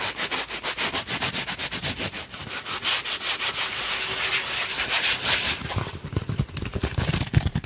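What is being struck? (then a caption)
Thin paper tissue. A thin, soft, folded white paper tissue held in both hands close to the microphone is rubbed and crumpled by the fingertips. The result is a quick, steady series of bright, scratchy rustling strokes with a hissy, papery texture. Toward the end, the highs soften and duller low crinkles come through.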